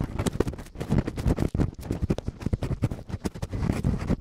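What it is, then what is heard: Silicone microphone ear covers being scratched. Latex-gloved fingertips quickly scratch and rub both small, hollow, soft silicone ear covers of a binaural microphone. The result is a dense stream of close, muffled rubbing and scratching with heavy low rumble and sharp, bright crackles throughout.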